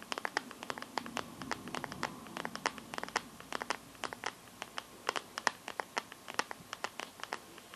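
Long nails scratch and tap the back of a Samsung phone's teal clear plastic glitter case near the camera. A rapid, uneven series of sharp, bright clicks and scratches sounds over faint background hiss, each stroke dying away almost instantly.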